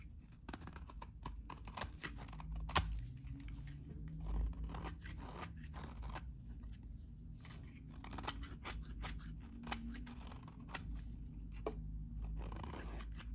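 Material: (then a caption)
Soap. A utility knife blade shaves the edges of a solid, hand-sized, very dry, cream-colored vintage soap bar. A steady run of short, crisp scraping and crunching cuts sounds bright and dry with almost no ring, over a low background rumble.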